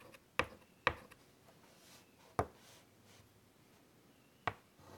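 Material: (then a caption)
Chalk. White chalk held in the fingertips scratches detail lines onto a large wood-framed chalkboard. Four sharp, bright taps ring out unevenly over the quiet background, each followed by a brief scratchy trail.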